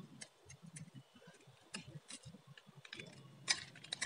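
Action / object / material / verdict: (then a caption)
scrape / soap bar scraped with a metal blade / soap / none. A metal utility blade shaves and scrapes a solid, palm-sized, varnished blue bar of dry soap into curls and strips. The result is a quick, irregular run of short, crisp ticking scrapes with bright edges and a soft low rustle underneath, each dying away almost instantly. The sharpest scrape comes near the end.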